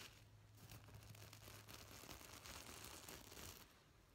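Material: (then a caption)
Plastic sequins. A hand sweeps and scratches across a medium-size, soft-stuffed gold and black reversible sequin pillow with fingertips and nails, flipping the plastic sequins. The result is a steady, dense crinkling and scratching rustle with a bright, hissy edge over a faint low hum, easing slightly near the end.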